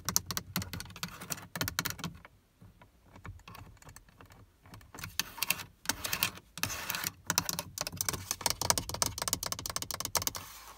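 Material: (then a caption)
Plastic. Long nails tap quickly on the black plastic rear door armrest panel of a Prius, a hollow moulded part with a window switch and silver trim. The bright, dry clicks come in dense bursts with a quieter, sparser stretch in the middle, and each tap dies away almost instantly.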